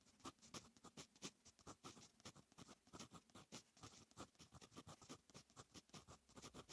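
A fine metal fountain pen nib writes on a lined paper notebook page, making a rapid, uneven series of quiet, dry scratching strokes. Each stroke is a short, bright, papery scrape that stops almost at once, with pauses where the nib lifts between letters.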